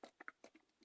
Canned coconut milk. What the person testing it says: there's hardly um as much liquid in there it's much thicker